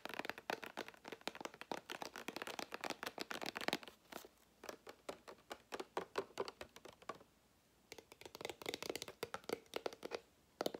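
A small clear plastic drinking-water bottle, hollow and partly filled with water, with a white plastic cap and a blue label, is held in the fingers while fingertips and nails tap and scratch its body and label, and then the cap is handled. Rapid, dry, crinkly taps and scratches run in dense bursts, with a brief quiet gap around the seventh second before the clicking resumes. The sound is bright with almost no low end, and each hit dies away almost instantly.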